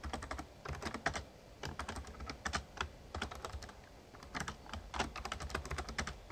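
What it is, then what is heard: Plastic membrane keyboard being typed on. Fingertips of both hands type rapidly on an RGB-backlit plastic Razer Ornata Chroma membrane gaming keyboard with a hollow casing. Quick bursts of crisp, clicky key taps with a low hollow thud underneath come in clusters separated by brief pauses, each tap dying away almost instantly.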